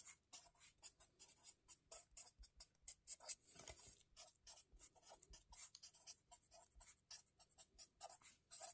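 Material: Paper.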